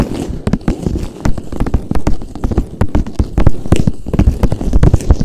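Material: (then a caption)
Plastic. A pink hollow cone, probably plastic, held upright, is tapped and scratched with fingertips and nails. Quick, irregular taps land as dull, bassy knocks with short clicky edges and little ring, between soft scratchy rustling.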